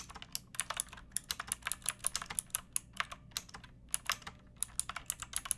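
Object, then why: Plastic mechanical keyboard with round keycaps. Long painted nails and fingertips type on a pink backlit typewriter-style mechanical keyboard with round plastic keycaps and a hollow plastic case. About thirty quick, bright, clacky keystrokes come in an uneven rhythm, each dying away almost instantly, with very little low end beneath them.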